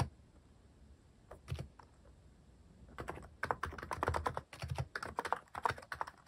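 Fingertips type on a cream plastic-cased mechanical keyboard fitted with cat-themed plastic keycaps, resting on a wooden desk. After a near-silent start and a few scattered taps, a steady run of short, clacky keystrokes follows, each with a mid-toned click over a soft low thump.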